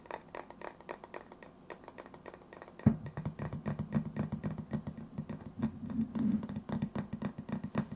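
A hand-sized hollow cylindrical metal tin with a white lid, held in the hands, is scratched and tapped on its side and lid with fingertips and nails. Quick light taps and scratches come in a dense, steady run. Just before three seconds a low hollow ring around 220 Hz joins in and stays under the rest of the tapping.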